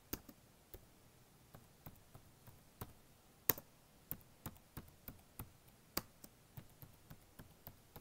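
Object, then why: Plastic laptop keyboard keys. Fingertips type quickly across the black plastic keys of a blue HP notebook keyboard. A quiet, irregular run of short, dry clicks and taps is heard, each sharp and bright with a brief low knock, and each dies away almost at once. One louder click stands out near the middle.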